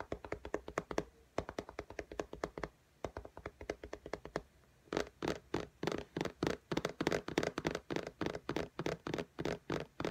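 Long nails rapidly tap and lightly scratch the glass screen of an iPad in a pink case, making about fifty short, dry clicks with no ring. The taps are soft and quick through the first half, pause briefly near five seconds, then turn louder and fuller for the rest of the clip.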